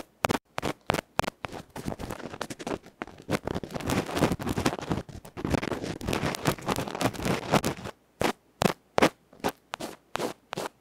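A bamboo ear-pick tip scratches and pokes the felt face of a small metal electret microphone capsule held in fingertips. Sharp, dry, broadband scrapes come in distinct bursts at the start, then blur into dense, continuous scratching and rustling in the middle. The clip ends with separate quick pokes again.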